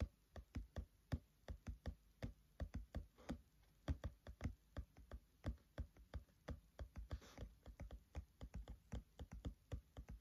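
Short-nailed fingertips of both hands tap on the printed paper pages of a thick paperback book lying open on a table. About 43 quick, dry, dull thuds come in a steady rhythm, mostly low with almost no ring, and a brief soft papery brush is heard partway through. The taps grow slightly softer and denser toward the end.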